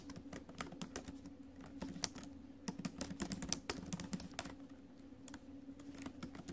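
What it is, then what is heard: Laptop keyboard with plastic keys in a metal body. Fingertips and nails tap the plastic keys of a silver metal laptop keyboard in a steady typing rhythm. Many short, sharp clicks with bright ticks ring out over a faint low hum. Each stroke dies away almost at once.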